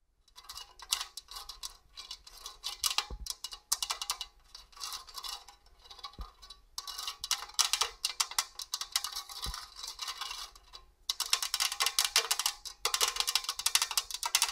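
Long orange acrylic nails tap and scratch the perforated side of a hollow four-sided stainless steel box grater with a black top, standing upright on a table. Rapid, bright metallic scraping and crisp clicks come in dense bursts, with short pauses between passes. A few low thuds sound underneath.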